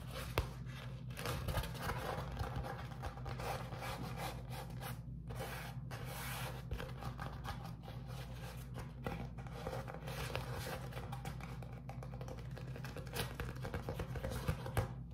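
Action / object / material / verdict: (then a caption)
scrape / beeswax-coated cotton food wrap / waxed cotton / none. Fingertips rub, tap and press a flat beeswax-coated cotton food wrap sheet with a honeycomb print while it is held up. Soft, continuous rubbing and scraping textures mix with short, light taps over a steady low hum. The sound stays quiet and close throughout, with brief dry clicks poking out.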